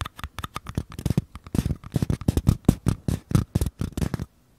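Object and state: Paper cups, empty.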